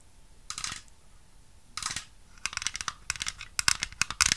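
A small, hollow white plastic toy piano with a paper sheet-music stand is handled close to the mic and tapped with long nails. Bright, dry clicks and scratchy taps come in short bursts that grow busier and louder toward the end. Each tap dies away almost instantly, with very little low end.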